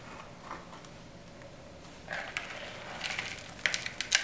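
Both hands squeeze and crush handfuls of small, dry, brittle green soap shavings and crumbs in a yellow plastic bowl, using palms and fingers. After about two seconds of faint hiss, bright, dry crunching and crumbling crackles build up, ending in a few sharper, louder crisp snaps as the pieces break apart.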